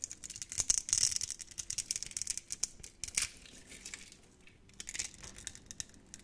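A utility knife blade scrapes crunchy cubes off a solid, hand-sized, orange translucent soap bar scored in a grid. Quick, dry, bright crackling scrapes come in clusters, with a quieter stretch in the middle before the scraping picks up again.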